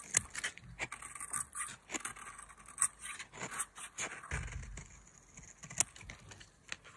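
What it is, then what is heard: Dry soap bar being carved. A metal utility knife blade carves a solid, dry bar of mint-green soap held in the hand. It makes a series of short, crisp scraping and cutting strokes, bright and dry with almost no ring. A soft low rumble comes in partway through.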